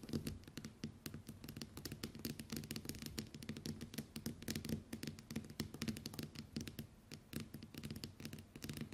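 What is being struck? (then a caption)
Smartphone with glass screen. Long white acrylic nails on both hands scratch and tap the glass screen of a small, solid, flat smartphone with a metal/plastic frame lying on a wooden table. The result is a quiet, steady stream of dense, dry clicks and taps with short scratchy brushes, each sharp and bright with very little ring over a soft low body.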